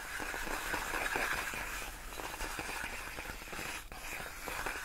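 Long nails slowly scratch and rub across large, clear, inflated plastic air-column cushion wrap made of hollow air-filled tubes. The result is a steady, dense rasp of squeaky, crinkly friction with a bright hiss over low rustling. The level dips briefly just before the end.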